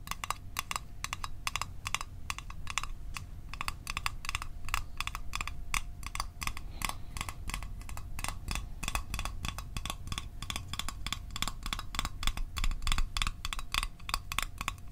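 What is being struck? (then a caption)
Small rectangular metal tin. Fingernails tap quickly on a small, rectangular, hollow metal Altoids Arctic tin. The result is a fast, steady stream of bright, clicky metallic ticks with a faint ringing tone, over a low background rumble. The taps grow slightly louder toward the end.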